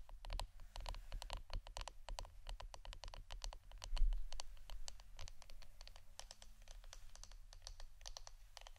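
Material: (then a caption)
Wood. Fingernails tap rapidly on the wooden part of an incense stick holder, producing a quick run of short, dry, clicky taps with bright tops. The taps are dense and uneven, with one louder cluster near the middle, all over a steady low hum.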